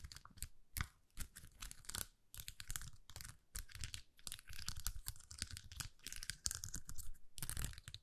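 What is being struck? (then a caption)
Thin plastic sheet with acrylic gems. A thin plastic rhinestone sticker sheet with rows of acrylic gems is curled between the fingers while long nails rapidly scratch across the gems. Dense bursts of bright, crackly scratching and crinkling come in quick succession with short pauses, underlaid by a low thumping rumble.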